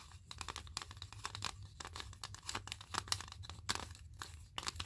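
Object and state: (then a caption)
Wooden clothespins tapped and scraped. Small wooden spring clothespins, arranged in a grid, are tapped and scraped by clothespins worn on the fingers, and the pins are clicked together. A quick, irregular run of dry, bright clicks and scratchy rasps sounds over a faint low hum, with each click dying away almost instantly.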